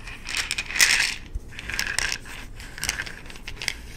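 An amber plastic supplement bottle with an orange plastic cap has its cap twisted and clicked, then is shaken so the contents rattle inside. The sound is a series of bright, crisp rattles and clicks with little low end and short decays, rising and falling in bursts across the clip.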